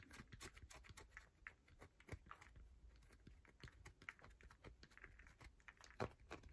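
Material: Soap.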